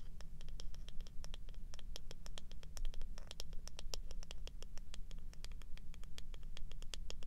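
Long nails scratch and tap rapidly along the solid wooden back and bristle side of a small handheld wooden hairbrush held close. The result is a fast, steady run of short, dry, bright clicks over a constant low hum.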